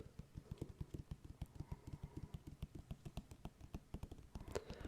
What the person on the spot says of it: I feel like I can't hear this tapping as well as I'd like.